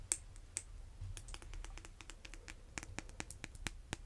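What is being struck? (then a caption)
Vinyl-coated hand dumbbell. Fingernails tap quickly on the top end of a red vinyl-coated hand dumbbell. Many short, crisp clicks in a rapid, uneven run, each with a bright, high edge and almost no ring, over a soft, low background rumble.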